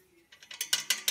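Metal bolts on an office chair's swivel plate are tapped with a finger, giving five short, bright metallic rattles that rise in loudness. The rattling shows the bolts are loose and need tightening.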